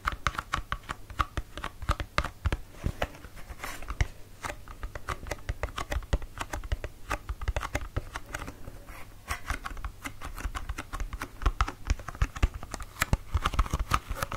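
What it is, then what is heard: Empty cardboard box. A small, empty, thin-walled pink cardboard box for a hydraluron serum is held in both hands and tapped and scratched with fingertips and nails. The result is a rapid, irregular stream of dry, hollow taps and papery scratches that stop instantly with no ring. Each tap has a soft low thump beneath a light, crisp edge.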